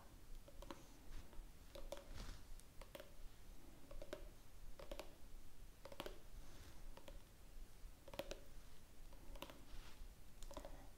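A small, hollow orange plastic squeeze tube of face cleanser, which appears filled, is held in both hands and tapped with long manicured nails. The result is a steady run of quiet, dry clicks with a light hollow tone around 566 Hz, each dying away almost at once over a low, soft background.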